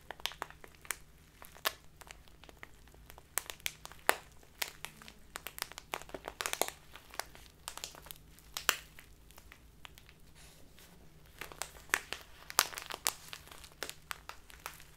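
A clear plastic Biotta tea bag full of loose tea is held horizontally in both hands and squeezed, crinkled and rubbed with the fingers and nails. Dense, bright crinkling and crackling snaps come in irregular bursts, busier around the middle and near the end, over a faint low hum. Each crackle stops almost at once.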